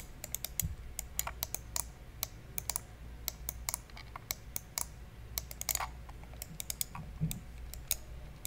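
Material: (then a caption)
Plastic. A black, hollow, plastic wired computer mouse is held in one hand beside the microphone while fingertips click and tap its buttons. Dozens of sharp, bright clicks come in an irregular, quick rhythm over a steady low hum, each cutting off instantly with no ring.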